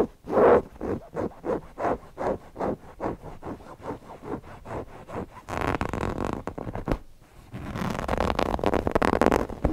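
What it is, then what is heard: Cotton fabric owl cushion. Fingernails scratch the cotton fabric around the eyes and beak of a stuffed cotton owl cushion, producing about fifteen separate, rhythmic scratchy strokes with a midrange, papery texture. These give way to a burst of denser, continuous scratching, a brief pause, and then steady, louder rubbing that runs to the end.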